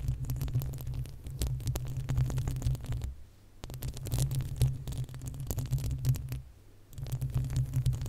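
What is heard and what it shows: Long acrylic nails on both hands scratch the uncovered, hollow metal mesh grille of a large desktop condenser microphone. The result is a dense, low rumbling scrape packed with rapid scratchy ticks. Two short, quieter pauses break up the sound.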